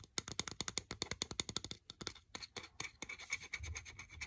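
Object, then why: Wooden bristle brush. Fingertips and nails scratch and rub along the dark stiff bristles and wooden edge of a hand-sized brush with a reddish-brown wooden back. A quick, steady run of short, bright, dry scratches comes first, then after about two seconds the strokes blur into a denser, rougher rubbing with a faint low rumble near the end.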